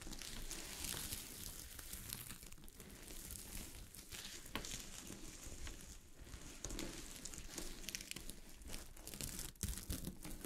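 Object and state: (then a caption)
Sequin fabric being scratched. Long glittery fingernails scratch a sheet of fabric covered with small gold sequins, making a steady, quiet crinkling rustle with bright, scratchy highs. Sharper crackling clicks stand out here and there throughout the continuous scraping.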